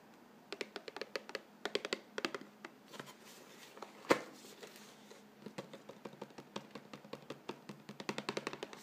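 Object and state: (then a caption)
Cardboard cracker box. Fingernails scratch and tap across the printed cardboard of a hollow Vegetable Thins cracker box filled with crackers, making a rapid series of dry, crisp clicks and scrapes with bright edges. Partway through, a single louder knock sounds as the box is turned from its side nutrition panel to the French front, and the quick fingernail scratching and tapping then resumes.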